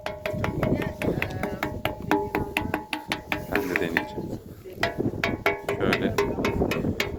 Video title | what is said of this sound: 4000 YILDIR SÖNMEYEN ATEŞ - AZERBAYCAN BAKÜ Gezilecek Yerler PART-2 | 石を叩くと大きな音がします。